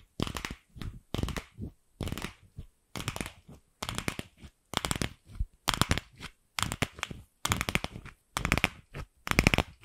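Long nails tap and scratch a single empty, fist-sized pink hollow plastic ball while it is turned around a microphone. Clusters of sharp, dry, bright clicks and rough scratching come in uneven bursts about once a second, with quieter scrapes and short silences between them.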